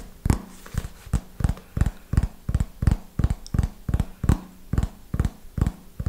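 A small red hardcover notebook, held upright, is tapped on its cover with fingernails in a slow, uneven rhythm. Each tap is a short, dull knock with a bright click on top, and the taps die away almost instantly, separated by a faint low hum.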